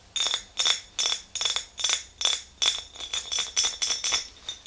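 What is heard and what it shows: Long green fingernails on both hands tap the walls of an empty clear glass mason jar with a handle, making about sixteen bright glassy clinks at an uneven pace. Each clink rings briefly around 3.5 kHz with higher bright overtones and almost no low end, and the later taps come faster and closer together.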